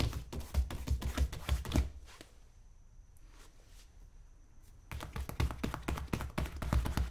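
Fingertips rapidly tap and pat the toe and vamp of a tan polished leather wingtip boot, worn on the foot and resting on a shoe-shine stand. Quick, dull, low thuds come in an uneven flurry, then stop for about three seconds of near silence with a faint high tone. The tapping then resumes at the same brisk pace.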